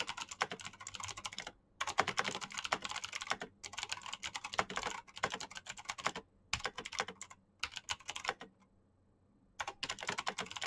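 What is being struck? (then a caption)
Plastic mechanical keyboard. Fingertips of both hands type rapidly on the keycaps of a black plastic mechanical keyboard with clicky switches. Bursts of sharp, bright clicks come in quick succession, broken by short pauses and one longer silent gap near the end before the typing resumes.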